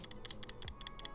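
A PSA-graded plastic slab holding a 1990 Marvel Universe Fantastic 4 vs Galactus card, graded 9.0, is shaken right beside the mic. About six quick, light rattling clicks are heard as the card moves loose inside. The slab still appears sealed.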